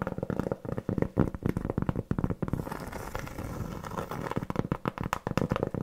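Long nails tap and scratch the surface and edge of a large, round, flat, solid cork board trivet. Quick, dull, low taps come in dense bursts, easing into a softer, continuous scratching in the middle before the tapping picks up again.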